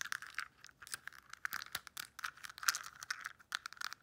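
Long nails rapidly tap and scratch the lids and compartments of a translucent pink plastic weekly pill box. The result is a quick, uneven run of dry, bright clicks and scratchy rattles that stop dead with no ring and almost no low end.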